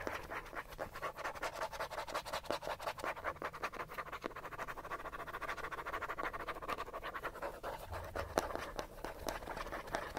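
Fingernails scratch fast at a small, hollow, yellow plastic cosmetic bottle held in one hand. The result is a dense, continuous run of quick, dry scratches centred in the mids around 640 Hz with little ring. The level stays fairly steady, with one sharper click near the end.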